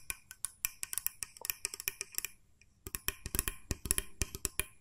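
Long nails tap rapidly on a small, hollow, cream-coloured plastic mooncake press mold, striking both its body and its spring plunger. About 29 sharp, dry, bright clicks come in two quick runs separated by a brief pause, each dying away almost instantly.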